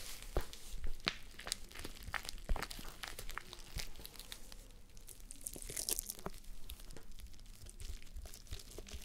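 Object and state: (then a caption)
Plush fabric face mask being scratched. Long nails scratch and fingers rub a pink plush fabric face mask on a mannequin head. The result is a quiet, soft scratchy rustle dotted with many short crackly ticks over a low rumble, with a brief brighter hiss of rubbing near the middle.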